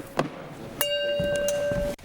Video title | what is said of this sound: Shattering Notes: Can a Singer’s Voice Crack Glass? - MythBusters - S2 E18 - Full Episode | Some of these are a little more dead than the others. If you flick it, hear how that rings.